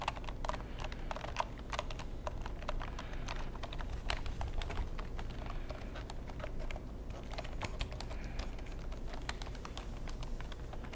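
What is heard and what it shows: Fingertips type and tap quickly on the keys of a long black plastic computer keyboard with a hollow casing. The result is a continuous run of short, sharp, bright clicks with quick decay, heard over a steady low hum.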